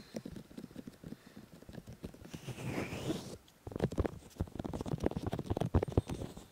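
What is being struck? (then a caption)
Silicone microphone ears. Fingertips of both hands rub and touch both soft, solid molded silicone ears of a 3Dio binaural microphone on a black housing. The result is a close, low, muffled patter of dense taps and rubs, with a brief brighter brushing hiss midway. A short near-silent pause follows, then the taps return slightly louder.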